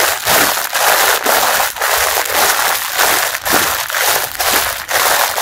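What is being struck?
Mesh bath sponge in a thin plastic wrapper.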